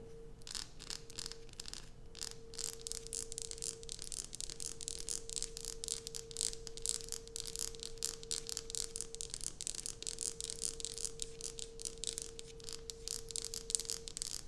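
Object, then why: Bar of soap. Long nails of both hands rapidly tap and scratch the top of a solid light-blue bar of soap lying on a dark cloth. The result is a dense, continuous stream of bright, dry scratches and short clicks, over a faint steady low hum.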